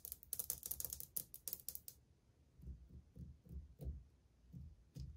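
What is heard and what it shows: Long painted fingernails tap quickly on old glazed ceramic subway tiles set flat and solid on a wall. About two seconds of rapid, bright, crisp clicks are followed by slower, softer, dull low taps.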